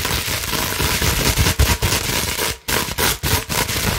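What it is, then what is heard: Plastic bubble wrap being scratched. Long nails scratch rapidly over a clear plastic bubble wrap sheet held in both hands. The result is a dense, continuous crackling and scratching with bright hiss and a low rumble, broken by a few brief dips in loudness.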